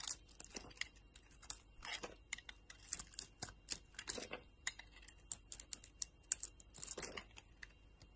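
A utility knife blade scrapes and carves slices off a solid purple and yellow soap bar held in the hand. A quick, irregular run of short, crisp, bright scraping and shaving bursts sounds, with a few longer crumbly rasps. Each cut stops dry with no ring, and the level stays fairly quiet.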